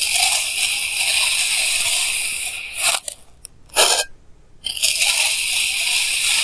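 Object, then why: Block of kinetic sand cut with a plastic knife. A clear plastic knife held in hand slices thin layers from solid pink kinetic sand blocks, recorded up close with a clip mic. A steady, bright, gritty crunch and scrape runs continuously, breaks off into near silence around the middle with one short sandy swell, then resumes at full level.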